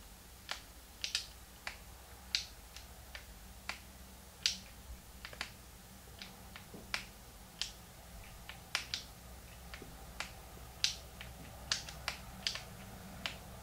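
Fingertips press and click the plastic buttons of a small, hollow, translucent pink plastic Game Boy Advance held in both hands. Short, bright, crisp clicks come at an irregular pace, each one dying away almost instantly over a faint, steady low hum.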